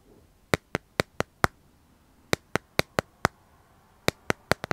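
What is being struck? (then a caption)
Smartphone in clear plastic case. Fingernails tap and scratch the back of a smartphone held upright in a clear plastic dragon-print case. Fifteen short, dry, sharp clicks come in three groups of five, each ringing out almost instantly, with quiet pauses between the groups.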